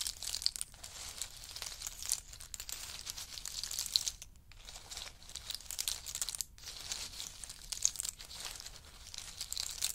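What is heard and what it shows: A wooden spoon and a wooden chopstick stir a large pile of roasted in-shell pistachios on a fur mat, and the hard little shells rattle and clatter against each other. The sound is a dense, bright, crinkly stream of clicks with almost no low end, and it drops away briefly around the fourth and sixth seconds.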